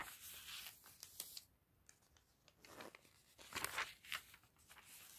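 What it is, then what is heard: Paper catalog pages being turned. Fingertips with red nails and a white glove turn the thin glossy pages of an open paper fashion catalog lying on a table. The result is a quiet run of bright, crisp paper swishes and crinkles, with short, sharp rustling bursts between softer sliding sounds.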